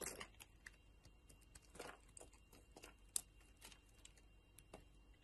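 A metal utility knife blade shaves a solid yellow bar of soap with a purple rind, and pieces fall off. Quiet, dry scraping and crisp crackling come in short, bright bursts, with one sharper click near the middle and a faint low hum underneath.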